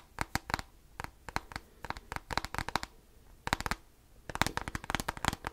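Fingertips and nails rapidly tap and scratch the top end of a handheld black plastic graphing calculator with a hollow casing. Quick bursts of sharp, dry clicks come in irregular clusters separated by brief quiet gaps, each tap bright and papery with almost no ring.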